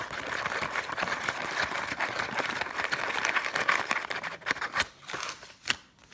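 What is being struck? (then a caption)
Paper banknote. A single thin, flexible Egyptian paper banknote, held up in both hands above loose banknotes lying on a table, is scratched and crinkled with long painted nails. A dense, papery crackle and scratch fills the midrange with bright edges. It thins out toward the end into sparser sharp crinkles and snaps.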